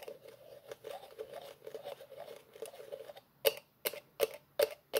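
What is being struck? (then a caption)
Plastic tube with plastic screw cap. Fingertips twist the orange plastic cap on a green plastic tube-shaped container, making a quick run of soft, scratchy grinding ticks for about three seconds. Then five sharp, separate clicks follow, each bright and short with almost no ring.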